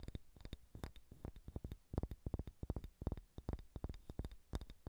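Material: Wood.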